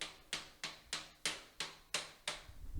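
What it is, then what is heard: Hollow-sounding ceramic shower wall tiles. A flashlight taps ceramic shower wall tiles eight times in steady succession to check for loose tiles, each tap a sharp, bright click that dies away quickly. The tiles sound somewhat hollow, though they feel okay when pushed on afterward.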